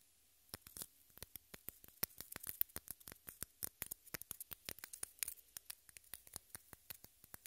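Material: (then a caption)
Pressed powder. Long manicured nails scratch and rub the dry, powdery surface of a solid, unwrapped pink pressed-powder bath bomb, about fist size, held in a hand close to the mic. The result is a quiet, rapid series of sharp, bright, crisp scratching ticks with almost no ring and little low end, spread steadily across the clip.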